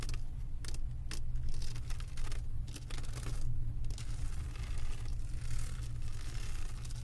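Long acrylic nails tap and scratch across a flat diamond painting of resin drills on a canvas board. Quick, bright clicks and crackly scraping streaks ride over a constant low hum near 70 Hz.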